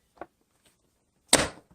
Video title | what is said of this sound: 메이저 베이스볼 오더글러브 검핑핑? 투톤 핑크가 이쁘다요~ | 지금 각각 둔탁한 소리가 나는데